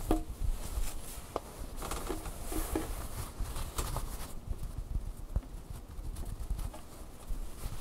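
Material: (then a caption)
Fleece fabric. A large, soft, stuffed fleece Angry Bird plush toy has its fabric beak and belly patted, tapped and scratched with fingertips and nails. The result is a steady stream of quiet, dull, muffled pats and soft scratchy rustles, mostly low in pitch with very little brightness, and no talking.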